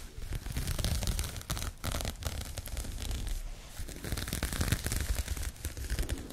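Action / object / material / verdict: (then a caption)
scrape / crocheted yarn bag / yarn / none. Long nails scratch across a pink crocheted yarn bag, giving a continuous rough, raspy scratching with a dull low rumble underneath. Brief brighter strokes stand out now and then, with a few short pauses between passes.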